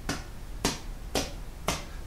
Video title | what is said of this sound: LowVisionKitchen: SausageCasserole | gently flick the top of the casserole and if it sounds hollow then it is ready